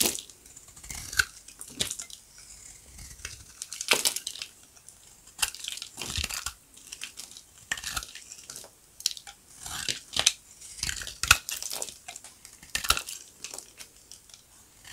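A solid white rectangular bar of dry soap, partly still in its green paper wrapper, is held in the palm while a steel utility-knife blade shaves and cuts flakes off its edge. The result is a series of crisp, crunchy scraping cuts, bright and high with little low end, separated by short quiet gaps.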